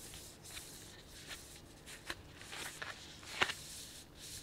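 A medium printed plastic snack bag with a kraft-paper look, filled with sunflower seeds, is held up close and crinkled and rubbed with bare fingertips. Soft, bright, hissy rustling runs throughout, broken by three sharper crackles that stand out from the quiet texture.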